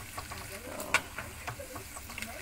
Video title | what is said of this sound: RESEP KACANG BAWANG HARUM GARING RENYAH GURIH EMPUK - LEBARAN - FIRDHA KARUNIA - FILM MEGABIRD - IDE | bunyi gini ya tuh maksudnya bunyi kencring-kencring garing